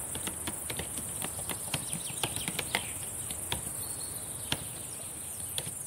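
Long painted nails and fingertips type on the plastic keys of a black laptop keyboard, making sharp, irregular clicks and taps. The taps sit over a steady, bright high-pitched hiss.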